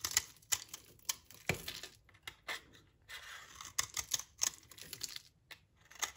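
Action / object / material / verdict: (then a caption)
scrape / soap bar scraped with a knife blade / soap / none. A utility knife blade scrapes crumbs off a solid, dry, brownish soap bar held in the hand over a pile of shavings. About twenty short, dry, crunchy scrapes come in quick bursts, bright and high with almost no low end, each cutting off sharply with a brief crumbly rasp.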